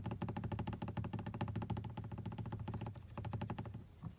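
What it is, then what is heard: Plastic car dashboard. Long blue-painted nails and fingertips tap and scratch rapidly across a large, solid, hollow-backed black grained plastic car dashboard panel next to an air vent, with the hand briefly reaching the vent edge. The taps land as a dense, steady run of short, dull, low thuds with quick clicky edges and almost no ring, thinning out and growing quieter near the end.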